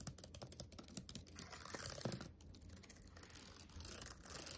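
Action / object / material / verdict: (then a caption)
tap / laptop keyboard with plastic keys / plastic / none. Fingertips tap the number and letter keys of a backlit laptop keyboard with black plastic keys set in a metal body. Quiet, sharp, bright clicks come in quick bursts at first, then blur into a denser, scratchy run of taps. Softer, irregular tapping continues to the end.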